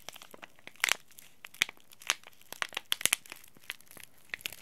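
A small green laminated plastic-foil tea bag packet, held flat in the hand, is scratched and rubbed with the thumb and fingernails. It makes a quick, irregular series of crisp, bright crinkles and scratchy ticks, with a few louder crackles standing out. The sound is dry and high-pitched, with almost no low end and no ring after each sound.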